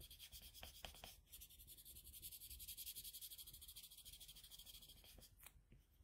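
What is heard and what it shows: A red colored pencil held in a metal extender is rubbed and stroked across a flat sheet of drawing paper resting on a desk, shading a drawing. It makes a soft, steady, bright scratchy rasp built from quick, repeated back-and-forth strokes, with a few sharper taps near the start and the end.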